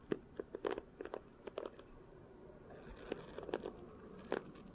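A red and black plastic paddle hairbrush with a solid handle and rows of nylon bristles is held close while fingertips run over and flick the bristles. Quiet, scratchy, crunchy bursts come in uneven clusters, with a short pause in the middle of the clip.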